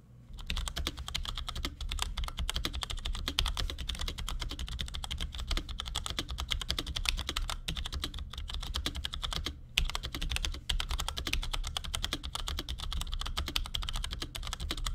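A compact black plastic Cherry G84-4100 keyboard with ML switches sits on a desk and is typed on with the fingertips of both hands in quick taps. The result is a fast, continuous stream of short, bright clicky keystrokes over a steady low hum, with a brief pause near the middle.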